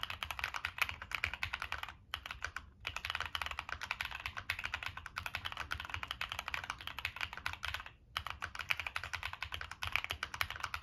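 Continuous fingertip typing on a Monsgeek M1 mechanical keyboard with a black aluminum case, plastic keycaps and NK Cream switches. Rapid, crisp, bright clacks with very short decay run steadily, with brief pauses near 2 and 8 seconds.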